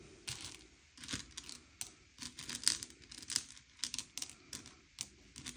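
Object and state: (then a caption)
Candy-coated chocolates being pushed around. Fingertips slide and push a pile of small, hard, sugar-shelled M&M's candy-coated chocolates around a grey plate, sorting them by colour. The candies make a quick, irregular string of bright clicks and skittering rattles with almost no low end, each tick dying away almost instantly.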